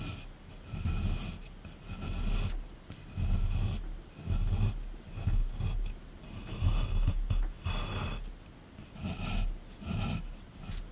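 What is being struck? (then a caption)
Plaster block scraped with a small chisel. A small chisel tool scrapes and digs into a solid plaster excavation block from a dinosaur dig kit, resting in a tray. Seven rough, grinding scraping strokes swell and fade in uneven succession, each carrying a heavy low rumble with a faint bright rasp on top.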